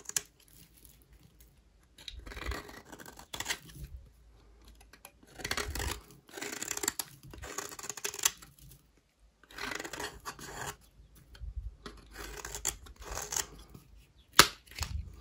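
A solid, dry, white rectangular bar of soap is held in the hand while its edge is shaved with a utility knife blade. Repeated bursts of crisp, dry, bright scraping and crackling come through, separated by short pauses, and a sharp snap sounds near the end.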